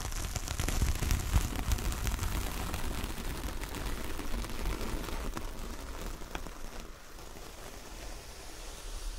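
Long nails drag and scratch over the bristly fibres of a large, flat, solid coconut coir door mat with a star print. The result is a steady, rustling scrape with a deep low rumble beneath it and a faint bright hiss. The sound eases slightly toward the end.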